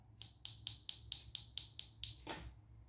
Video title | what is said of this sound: How to do a heart glitter french nail design | if I tap it, you will hear that it's actually gone very, very hard